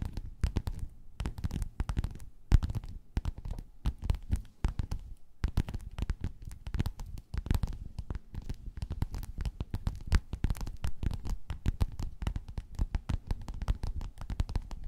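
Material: Faux leather.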